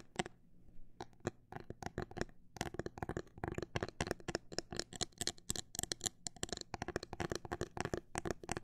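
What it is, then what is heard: Phone case tapped with fingernails. Fingernails tap on a phone case, starting with a few scattered taps, a brief pause, then a fast, dense run of tapping that continues to the end. Each tap is a short, dry, bright click with almost no ring, over a faint low hum.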